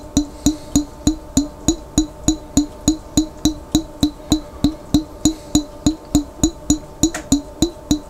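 Fingertips tap steadily on a large, clear glass Vlasic pickle jar with its lid on, held on its side and partly filled with water. About 28 short, hollow, woodblock-like knocks come at roughly three per second. Each has a pitch near 300 Hz and bright overtones, and dies away almost at once.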